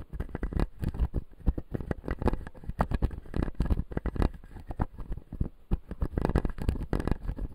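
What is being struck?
Acrylic dental jaw model with resin teeth.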